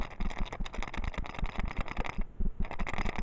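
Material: Wood.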